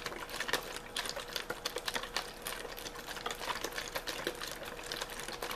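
A hollow, clear plastic drink bottle with a blue label, partly empty, is held in one hand and shaken while the fingertips crinkle it. A quiet, continuous stream of sharp, bright crackles and taps comes in quick irregular bursts over a faint steady hum near 500 Hz, with almost no low end.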